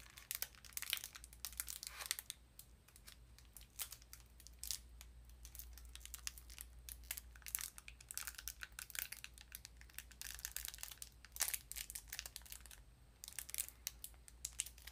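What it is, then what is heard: Cardboard sardine box, handled and tapped. A small printed cardboard sardine box is handled, squeezed and tapped with fingernails, making quiet, dense, bright crinkles and sharp ticks with almost no ring. A steady low hum sits underneath throughout.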